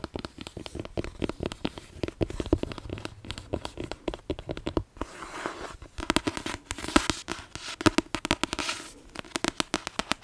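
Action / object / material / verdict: tap / paperback book with glossy card cover / card, paper / none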